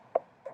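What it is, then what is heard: Hollow pumpkin. Knuckles knock twice on the outside of a carved-open pumpkin, giving two short, dry, hollow thuds centred around 650 Hz that die away almost instantly. The sound resembles knocking on a door or a piece of wood, and the shell sounds hollow because there is not much left inside.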